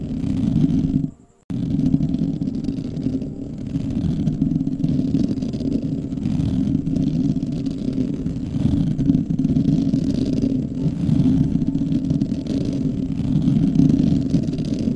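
A soft, porous, fist-sized black foam windscreen over a microphone is scratched with the fingertips of both hands. It gives a dense, continuous low rumbling scratch with no high sparkle, broken only by a brief silence near the start.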